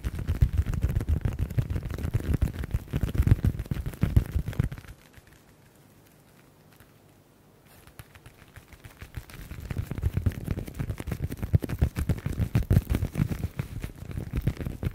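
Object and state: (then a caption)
Leather folder. Fingertips and nails rapidly tap and scratch the surface of a flat black leather folder or wallet held in both hands, making dense, dull, low-pitched patters. The tapping falls almost silent for about three seconds in the middle, then picks back up and continues quickly to the end.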